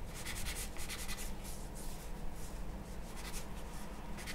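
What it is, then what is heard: Charcoal pencil drawing on paper. A charcoal pencil held in the hand scratches and strokes across a large, flat sheet of white drawing paper lying on a wooden table while drawing. A steady, soft rubbing texture with repeated bright, scratchy bursts from the strokes sits over a low, constant rumble, staying at an even level throughout.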